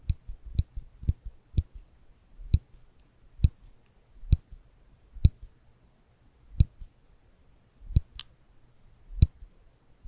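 A small silver ribbed metal clicker, held in the fingertips above the microphones, is squeezed with the fingers to click. About a dozen sharp, dry clicks are heard at uneven intervals, each a bright snap over a soft low thump. Each click dies away almost instantly into near silence.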